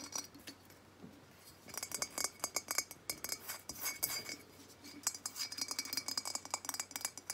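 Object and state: Terracotta jug.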